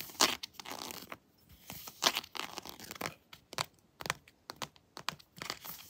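Long nails scratch and tap the textured chest armor of a hard plastic Predator action figure lying down. The result is dry, bright, irregular scratching and crunchy clicks with short, quiet gaps between bursts.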